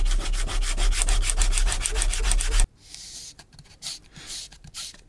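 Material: Leather.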